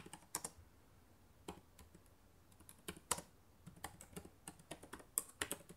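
Fingertips with long nails type on the plastic keys of a black laptop keyboard. Sharp, bright clicks come in irregular bursts, some sparse and some clustered, each with a very short decay over a faint background hiss.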